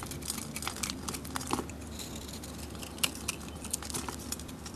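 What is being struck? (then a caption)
Bar of soap scraped with a metal blade. A metal blade shaves and scrapes curls off a solid rectangular bar of soap with a glittery green Gemini-decorated surface, held in the hand. Dense, dry crinkling and scraping fills the clip, punctuated by many short, bright crackles with almost no ring.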